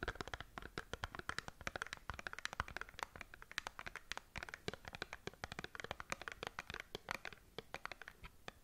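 A small cardboard skincare box, held sideways, is scratched and tapped with long nails. Rapid, dry clicks and scratchy strokes follow one another closely with almost no ring, forming a crisp, papery texture centred in the mids with bright edges.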